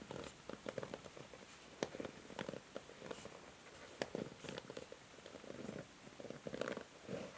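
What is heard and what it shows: Long nails strum and scratch the bristles of a pink plastic hair brush. Soft, quiet bursts of raspy, mid-pitched rustling are broken up by sharp, bright ticks as the nails catch and flick across the bristles.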